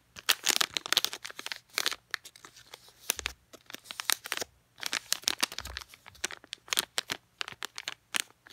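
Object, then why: Sealed plastic packet of floss picks. A small sealed plastic DenTek packet of floss picks is crinkled, scratched and tapped with long painted nails. Dense bursts of bright, crisp crackling and sharp clicks come in quick clusters with short pauses between them.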